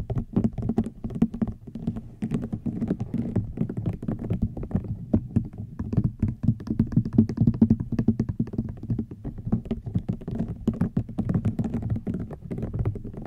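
A rattan item is tapped with the fingertips in a steady, rapid stream of soft, dull taps. The taps are low and muffled with almost no ring, rising and falling slightly in loudness throughout.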